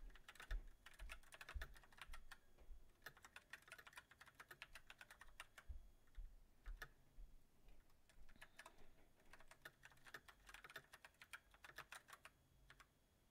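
Fingertips type on a mechanical keyboard with white plastic keycaps on a silver metal frame, ending with the right hand typing alone. Quick, uneven runs of sharp, bright key clicks with a low thump under each press are broken by short pauses, and the keystrokes grow softer toward the end.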